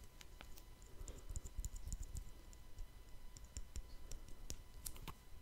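A small round wristwatch with a metal case and glass face is held in the fingers close to the microphone and tapped with the fingertips. The result is a quick, uneven run of soft, dull taps with low thumps and bright, crisp ticks on top, each dying away almost at once.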